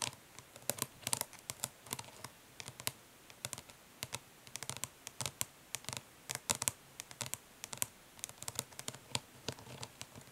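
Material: Plastic.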